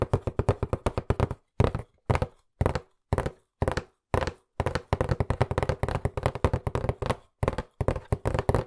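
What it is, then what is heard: Cardboard box tapped. Fingertips tap rapidly on a hollow white printed cardboard box turned sideways in the hands. Quick runs of dry, hollow thuds come in bursts separated by brief pauses, with a low, boomy body and almost no ring.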